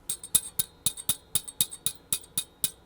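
A 5Y4 glass rectifier vacuum tube from a 1938 Zenith 9S262 tube radio is shaken, producing 14 quick, bright, glassy clinks with almost no ring as a loose part rattles inside. The loose internal part could short and take out the main power transformer, so the tube should be replaced.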